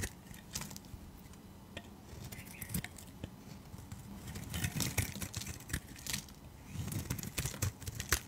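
A utility knife blade scrapes along a translucent green rectangular glycerin soap bar held in the hand, shaving thin curls off its solid surface. Quiet, irregular crisp scraping and shaving strokes, with many brief bright ticks over a soft low rumble, grow a little louder midway and then ease off.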